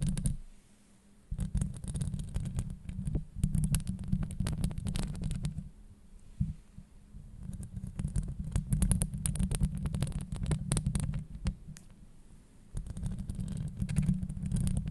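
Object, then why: Metal mesh microphone grille. Long nails scratch a hollow metal mesh microphone grille up close, making a deep, muffled rumbling scrape full of dense crackling ticks with a bright edge on top. The scratching comes in bursts, dropping to quieter gaps near the start, around six seconds and again around twelve seconds before picking back up.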